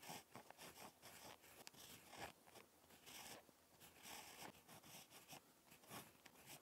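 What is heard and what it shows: A ballpoint pen tip scratches across a lined paper notebook page during handwriting. Quiet, dry, bright scratching comes in short stroke bursts with brief pauses between them.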